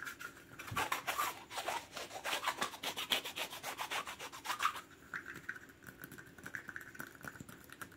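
Rapid, aggressive tapping and scratching on a plastic cap as an ASMR trigger, giving a dense run of bright, dry, rubbing clicks with almost no low end. For the first five seconds the scratching is louder and busier, then it eases into lighter, softer scraping.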